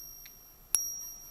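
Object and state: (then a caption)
Genuine gold sovereign, clear ping. A genuine 22 carat gold sovereign coin, confirmed genuine by a Sigma machine dimension test, is pinged next to the microphone. A faint high tap is followed by one bright, high-pitched metallic ping, which rings on as a thin sustained tone and slowly fades.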